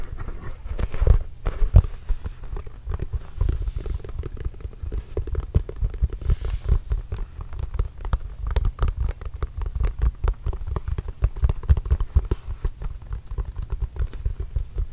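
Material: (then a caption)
Composite leather. A full-size Spalding NBA Grip Control basketball with a composite leather cover, hollow and inflated, is held close to the microphone and tapped rapidly with the fingertips. The result is a dense, continuous patter of soft, deep thumps around 86 Hz that die away almost instantly, with nearly all the sound sitting in the low bass.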